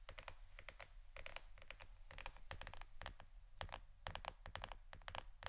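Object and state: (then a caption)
Plastic board, tapped with fingernails. Fingernails tap rapidly on a plastic board shaped like a shirt, producing quick bursts of dry, bright clicks that stop almost instantly. The taps come in uneven clusters over a steady low hum.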